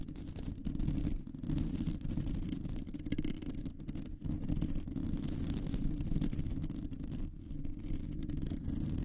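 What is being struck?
Metal mesh microphone grille.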